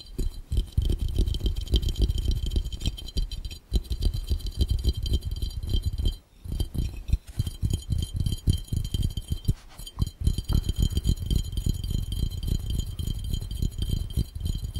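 Both hands tap rapidly with fingertips and nails on an empty, hollow, clear round glass fishbowl. The dense, uneven stream of quick taps sounds mostly low and thuddy, with faint bright glassy clicks on top. There is a brief pause about six seconds in, then the tapping resumes.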